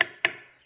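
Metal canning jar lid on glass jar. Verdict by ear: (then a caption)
Sealed. A spoon taps twice on the metal lid of a glass canning jar of pears in brown sugar syrup that was water-bath canned for 30 minutes and left standing overnight. Each tap gives a short, bright, high-pitched tick that fades quickly. The high pitch shows the lid has sealed, and it can't be opened by hand.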